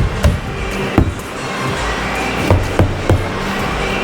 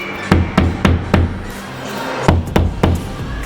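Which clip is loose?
The second.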